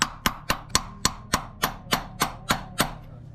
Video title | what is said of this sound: Swapping a ZF Into my E36 Drift Car | until you hear a difference in the sound